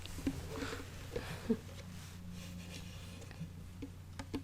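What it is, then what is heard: Wooden ukulele. A small wooden ukulele that looks more like a toy than a musical instrument is tapped on its wooden body. Seven short, dull knocks land at an uneven pace, each dying away almost at once, over a steady low hum.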